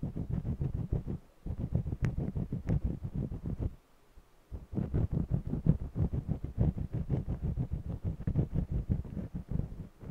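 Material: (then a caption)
Cotton canvas. A green jumbo wax crayon scratches short strokes across the textured surface of a small stretched cotton canvas on an easel. The quick, uneven scraping strokes come in a steady stream with a brief pause just before the middle. The sound is dull and low-heavy with little brightness.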